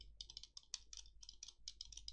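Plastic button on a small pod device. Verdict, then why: Loose. The loose fire button on a Smoant Pasito vape pod mod rattles as the mod is moved and flicked, producing a quick series of light, dry, high-pitched clicks. The button is faulty; it should have been stiffer.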